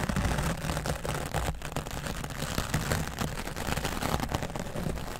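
The bristles of a wooden dry brush are brushed across the top of a grey foam microphone windscreen. The result is a steady, dense, scratchy rustle with a heavy, muffled low rumble and rapid overlapping strokes that never fully stop.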